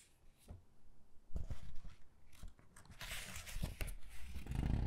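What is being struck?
Hardcover book with glossy paper pages.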